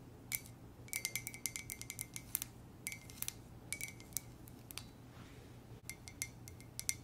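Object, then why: Ceramic mug. An empty white ceramic monogram mug with a gold base is tapped with long nails in quick bursts of light, bright clicks. Each tap carries a faint ringing tone around 2 kHz that dies almost instantly, over a steady low hum. A brief pause falls near the five-second mark before the tapping resumes.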